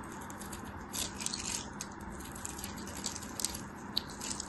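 A solid, translucent yellow glycerin soap bar held in the hand is scored and cut with a thin blade. The result is a quiet, continuous scratching and cutting sound with crisp, bright scraping and small sharp ticks over a faint low steady hum.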